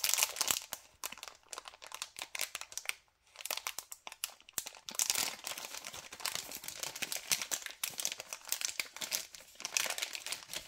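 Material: LDPE plastic.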